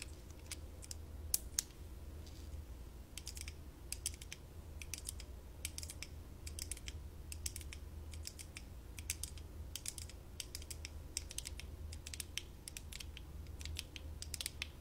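Long nails on both hands tap and scratch along the sides of light-up plastic visor-style glasses worn on the face, small, thin and hollow, in front of a fluffy microphone that is not touched. The result is a steady run of quick, dry, bright plastic clicks and scratchy ticks with no ring, over a constant low hum.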